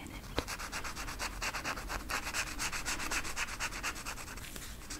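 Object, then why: Felt-tip marker on flocked velvet sheet. A felt-tip marker held in the fingertips is rubbed quickly back and forth over the pile of a flat black flocked-velvet coloring sheet with a peacock design lying on a table. A steady, scratchy brushing rub with a bright hiss repeats at a brisk pace, with a single sharp tick near the start.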